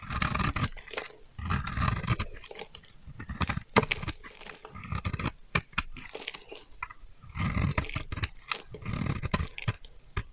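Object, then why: Bar of soap. A metal utility knife blade scrapes a solid, dry teal bar of soap held in the hand, shaving off crumbly flakes. Repeated dry, crunchy scraping strokes come in bursts, each with a dull low body and a bright crackle, separated by short quiet gaps.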